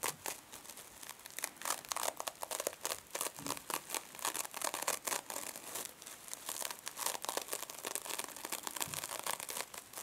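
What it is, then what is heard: Metallic mesh scrub sponge. Long fingernails on both hands scratch and pinch the surface of a small silver mesh-covered foam scrub sponge resting on a table. The result is a dense, continuous stream of bright crinkling, crunching and scratching bursts with almost no low end. Each burst is quick and dry.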